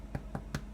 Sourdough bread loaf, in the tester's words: you tap it, sound hollow, which it does